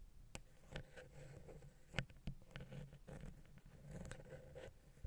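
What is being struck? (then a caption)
Metal microphone capsule housing scratched and tapped with a wooden pick. The tip of a wooden ear pick scratches and taps the small, hollow, silver metal XY microphone capsule housing on a Zoom H6. Soft, close scraping and rustling mix with about seven sharp, brief ticks that die away at once. The sound is quiet and weighted toward the lows, with a steady low hum underneath.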